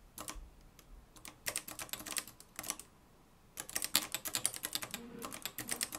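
Fingertips type on the dark plastic keys of a mustard-yellow, plastic-cased manual typewriter with a metal mechanism. Quick bursts of sharp, bright clacks come in uneven runs, with a brief quiet gap in the middle. Each strike dies away almost instantly.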